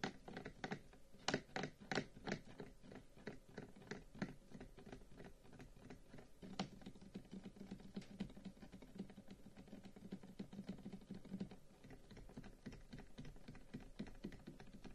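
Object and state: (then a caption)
Carved wooden incense box. A long, hollow, carved wooden incense box lying on a table is tapped with the fingertips of both hands. A series of distinct, hollow knocks opens the sequence, then it settles into a steady, rapid patter of soft taps with a warm, low-mid resonance and a short decay.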